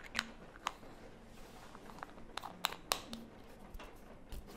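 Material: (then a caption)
Plastic. Long nails tap and scratch the sides of a small, hollow red plastic lip mask jar with a lid. Sharp, bright clicks stand out irregularly over a soft scratchy rustle, with very short ring and faint hollow tone.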